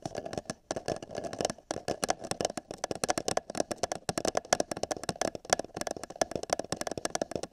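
Fingertips and nails tap rapidly and unevenly on the top of an empty, hollow printed paper cup held over a binaural microphone ear. Each short, dry tap carries a hollow, papery resonance in the mid range with a crisp, bright click and almost no ring, repeating continuously throughout the clip.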